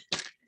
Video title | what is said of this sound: Meditation Course - April 2022 - DAY 8: Bringing balance within | if I shake it, you can hear I've already put ice in it